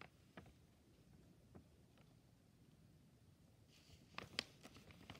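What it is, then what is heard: Plastic film pouch, crinkling. A medium, flexible plastic-film Bertolli frozen shrimp scampi pouch, held in one hand, is tapped and brushed with a purple-handled brush and a stick. Quiet, scattered soft taps come over a low hiss, then a brighter cluster of crisp crinkles and taps builds near the end as the bag is handled. A bowl of noodles sits nearby, untouched.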